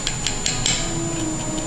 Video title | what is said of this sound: Cooking with Shawn and Deion-Creme Brulee Made SIMPLE !! | that means that it has crystallized